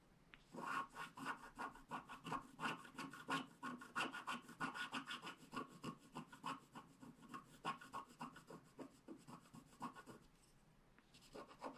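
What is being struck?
Wax-coated scratch art card scraped with a wooden stylus.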